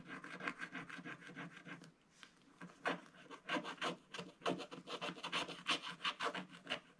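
A wooden stylus scratches the black coating off a scratch-art book page while the other hand rests on the book to steady it and shavings build up on the page. Quick, dry, bright scratching strokes come in uneven bursts, with a short lull near the two-second mark before the scraping picks up again.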